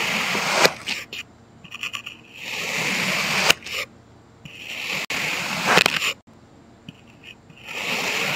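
A thin knife blade slices straight down in parallel cuts through a solid, heart-shaped mound of packed red kinetic sand on a white surface, surrounded by broken sand chunks. Each cut makes a bright, gritty scraping crunch that swells and then falls to near silence between strokes.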